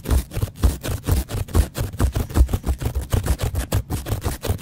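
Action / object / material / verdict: scrape / foam kitchen sponge with scouring pad / foam / none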